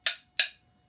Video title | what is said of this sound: Russ Filbeck's Ladder Back Chairs: Making Tenons | if this was wet wood that would be a real dull thud sound but you can hear that ring and you know that you've got dry wood